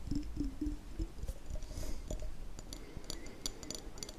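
Fingertips and nails tap the glass sides of a small hollow glass jam jar with a label and a red-and-white checkered metal lid, held up in one hand. The quick, uneven taps make soft low thuds with short ringing glassy tones early on, then turn into brighter, crisper clicks that fade almost instantly.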